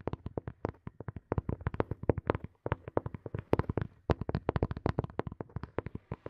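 Fingertips and nails tap a small, hollow, black hard plastic earphone case sitting behind the mic. Around 45 quick, dry taps arrive in uneven bursts with brief pauses. Each tap has a hollow, low knock with a faint clicky edge and dies away almost instantly.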